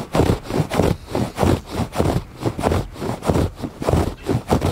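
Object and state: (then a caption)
Woven fabric rug. Fingers scratch back and forth across the textured surface of a woven fabric rug. The result is a steady run of soft, muffled rasping strokes with a low, dull scraping body and little brightness, each stroke swelling and fading in an uneven rhythm.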